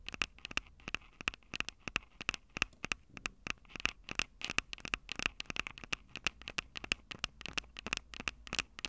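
Long acrylic nails scratch and tap the metal-grilled microphone capsules of a small, hollow Tascam DR-05 handheld recorder with a plastic body. The result is a rapid, irregular stream of sharp, dry scratching clicks that are bright and crackly, with a recurring tone near 2.6 kHz and almost no low end. Each sound stops instantly with no ring.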